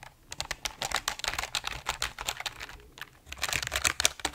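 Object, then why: Mechanical keyboard, plastic keycaps on aluminum plate. A full-size RGB mechanical keyboard with plastic keycaps on an aluminum plate is held in front of the mic while both hands type and tap the keys with fingertips. It makes a rapid, uneven run of sharp, bright plastic clicks with little low end, each dying away almost instantly. The typing pauses briefly near the three-second mark before resuming.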